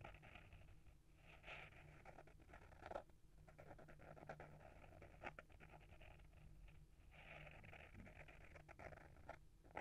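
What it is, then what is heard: Hardcover book cover scratched with fingernails. Short fingernails scratch the front of a small, solid hardcover book with a paper-wrapped board cover, held in the hand. A quiet, steady, dry scratching runs throughout, with brief sharper scrapes standing out here and there over a low background rumble.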